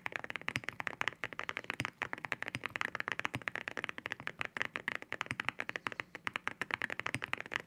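Fingertips type steadily on a white mechanical keyboard fitted with ceramic keycaps, spare keycaps resting on the desk beside it. Rapid, dense keystrokes produce sharp, bright clacks with a glassy ring, each decaying almost instantly, with little low-end thump.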